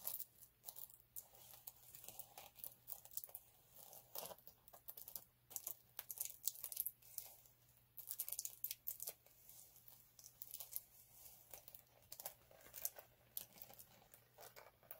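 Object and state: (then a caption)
Glitter sheet scratched. Fingertips and short nails scratch and rub across the textured surface of a flat multicolour chunky glitter sheet lying on a dark cloth. The result is a dense, crisp run of bright, papery scratching and crackling with quick, dry bursts that stop instantly, over a faint steady low hum.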